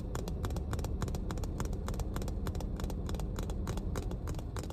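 Long painted nails tap rapidly on the body and cap of a full, clear plastic water bottle. The taps come as quick, bright clicks over a steady low rumble.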